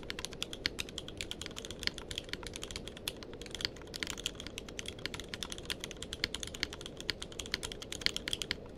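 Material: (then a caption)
Plastic. Fingertips of both hands type continuously on a tenkeyless mechanical keyboard with plastic keycaps. A steady stream of sharp, bright clacks comes fast, each dying away almost instantly, over a soft low background rumble.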